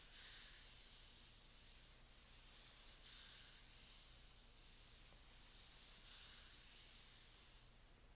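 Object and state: Plastic hard-shell laptop case being rubbed.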